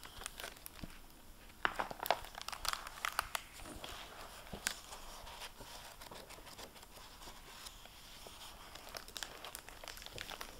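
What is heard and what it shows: Fingertips with long painted nails handle the cover and paper pages of a medium-sized, solid hardback library book with a gold, plastic-covered dust jacket, lying open on a wooden table. Soft, bright plastic crinkles and page rustles come in quick, scattered bursts, with several sharper crackles early on and a steady quiet rustle after.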